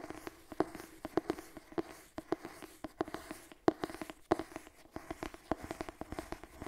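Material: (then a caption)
Cloth, board. Long nails scratch the cover of a purple cloth-bound hardcover cookbook held up in front. A quiet, dry series of short scratches and clicks comes in uneven bursts, several carrying a faint hollow tone around 340 Hz that dies away almost at once.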